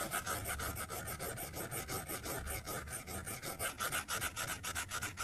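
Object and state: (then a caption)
Stylus scratching a glass tablet screen. A plastic stylus tip scribbles back and forth across the flat glass screen of an iPad tablet while coloring, scratching the glass. The result is a quick, steady stream of raspy rubbing strokes with a bright, hissy edge and a faint squeaky tone around 1.3 kHz, each stroke swelling and fading in an uneven rhythm.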